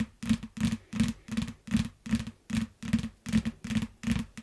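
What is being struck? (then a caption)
Hardcover paper book. Long nails and fingertips tap and scratch the glossy cover and spine edge of a closed, solid yellow hardcover paper book lying flat. A steady rhythm of short, dull scratchy bursts repeats about every half second, each with a low, thick body and a brighter rasp on top that fades quickly.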